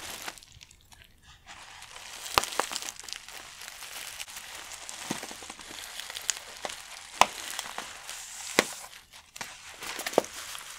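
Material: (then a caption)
Plastic. Fingertips tap, rub and crinkle a palm-sized black matte plastic stand-up pouch of Pure Leaf green tea, partly filled with loose tea leaves visible through a clear window, as it is handled on a dark textured mat. A soft, steady crinkling hiss with almost no low end is broken by sharp, bright taps and crackles that stand out from the rustle and die away at once.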